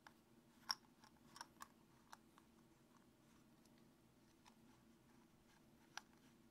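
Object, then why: Small plastic capped tube. A small, hollow, apparently empty translucent white plastic tube with a snap or screw cap is held in the fingers over a wooden table while the fingertips repeatedly open and close the cap. Sharp, bright, very short clicks come at irregular intervals, with the loudest near the start and another near the end. Between them is a quiet, steady background hiss.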